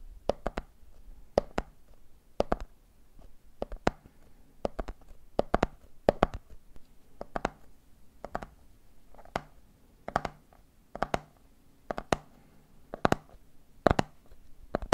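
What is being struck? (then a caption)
Plastic jar full of peanuts. Fingertips tap the wall of a medium clear plastic jar full of peanuts with a red plastic lid, while a hand wraps around the side of the jar. About 41 short, dry, hollow clicks come in quick galloping clusters of two or three. Each tap dies away almost instantly over a faint low hum.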